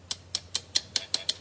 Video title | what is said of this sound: May Monthly Card Class with Cards by Christine | you can hear it it's plastic it's like filament